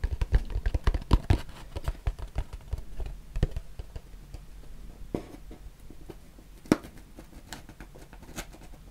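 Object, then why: Small closed cardboard box. A small, hollow, closed white cardboard box is tapped and rubbed with the fingertips close to the mic. Quick, dull, low thumps come in a dense flurry at first, then thin out into soft scratchy rubbing with a few sharper, brighter taps. Each tap dies away almost instantly.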